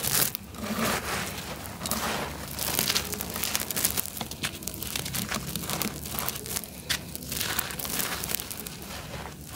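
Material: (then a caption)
Cement. Bare fingertips and thumbs pick up small solid clumps of dry, gritty, sandy-beige concrete or cement from a pile outdoors in sunlight and crush, crumble and rub them. A steady, dense run of bright, dry crunching and crackling grit is heard, with faint low rumble beneath. The clumps break down into crumbling sandy bits throughout.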